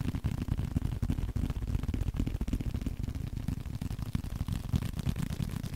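A small, flat blue leather card holder is held up while fingertips tap and scratch it. The result is a quick, uneven stream of soft, dull, low-heavy taps and rustling scratches with no ring.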